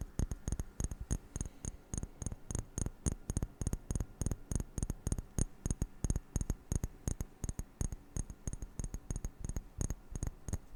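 Rapid, irregular tapping on a glass object produces a steady stream of short, dry knocks with a low thud and a faint bright tick on each hit. The taps are quick and closely spaced, with almost no ring between them.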